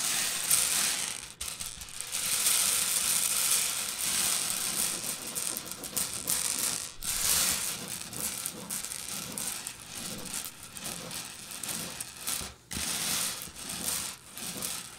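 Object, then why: Pile of small candy-coated peanut butter candies. Long purple nails and fingertips of both hands scratch and rake through a pile of loose, small, hard-shelled Reese's Pieces candies spread on a white table. The result is a dense, bright, continuous rattling clatter of the candy shells, swelling and thinning with brief pauses as the hands move.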